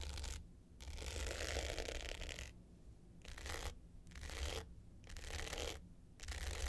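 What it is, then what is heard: Glitter hard-case clutch scratched with nails. Long pointed nails scratch the dark blue glitter top of a small, rectangular, hollow hard-case clutch with a gold metal frame, lying flat. The result is bursts of gritty, bright, rasping scratches separated by brief quiet gaps, over a low steady hum.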